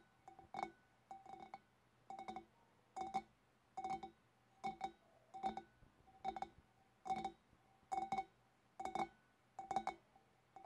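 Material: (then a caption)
Glass. Long dark nails on both hands tap the upper body and neck of a large, clear, empty, hollow glass fish bowl. The taps come in quick clusters at a steady pace, each giving a short, bright glassy clink with a clear ringing tone around 780 Hz that dies away almost at once.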